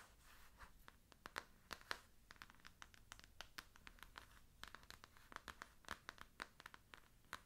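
Long nails scratch and tap the printed back cover and spine of a closed, solid pink paper-covered hardcover book. A quiet, rapid series of short, dry clicks and scratchy strokes with bright, crisp edges is heard. Each tap dies away almost instantly.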